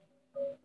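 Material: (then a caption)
Limestone. A hollow, hard cave rock formation is knocked again, giving a ringing, pitched tone around 555 Hz that resonates because the rock is hollow and hard. A faint earlier ring fades before a louder knock at about 0.35 s rings out briefly, and a second knock begins near the end.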